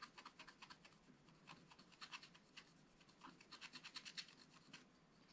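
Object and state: Scratch-art card being scratched.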